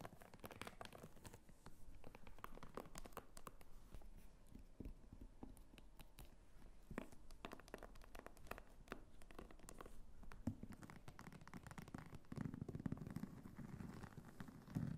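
A small red wallet-purse of croc-embossed faux leather with a metal snap button, standing on a table, is tapped and scratched with long fingernails on its front and flap. Quiet, dense clicks and crinkly scratching continue throughout, with a low, soft body under the taps and a few sharper knocks near the end.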